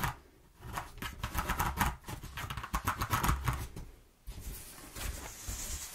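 Long nails scratch along the exposed ridges of a single-face corrugated cardboard sheet while the sheet is flexed, making fast, uneven ticking rasps in bursts. The scratching briefly drops out near the four-second mark, then resumes as a softer, brighter scraping over a low rumble.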